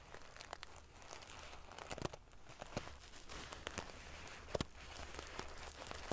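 Long painted fingernails scratch and ruffle the rows of small silver metal sequins sewn onto the fabric of a large decorative pillow. The result is a steady, dense crinkling rustle with sharp, bright clicks and crackles scattered throughout, over a faint low hum.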